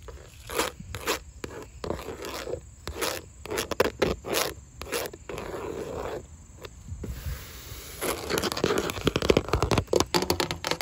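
Long nails tap and scratch across the surface and ridges of grey wood-grain vinyl siding on an exterior wall, its hollow-backed panels giving a light, plasticky knock. Dry, sharp taps mix with bright, rasping scrapes, including a steady scratching stretch in the middle. Dense, rapid clicking fills the end, and each tap dies away almost at once.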